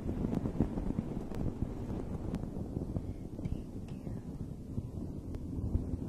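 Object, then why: Fuzzy fabric microphone cover. Long red nails scratch a dome-shaped fuzzy fabric microphone cover while the other hand rests on it. The result is a dense, muffled, low rumbling rustle with a few brief brighter ticks, holding steady throughout.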